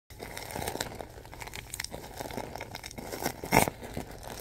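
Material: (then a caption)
Plastic film. A large, pillow-sized bag of thin clear plastic film filled with soft white stuffing is gripped and squeezed with fingertips and palms, making the film crinkle. The result is a steady stream of soft crackling and rustling, with one louder, brighter crunch near the end.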